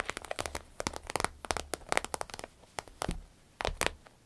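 Long acrylic nails tap and scratch an empty, medium-sized green striped glossy vinyl zip pouch lying on a table. Around nineteen quick, dry taps come in irregular bursts, with crinkly, bright scratching between them and a faint low hum underneath. Each tap stops dead, leaving no ring.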